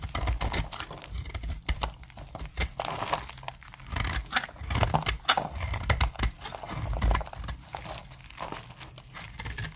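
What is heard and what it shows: A utility-knife blade carves crisp plates off one end of a hand-held, solid, opaque, dried light brown soap bar. Dense, dry crackling and crunching scrapes come in quick overlapping bursts, over a low rumble, as the thin flakes break away.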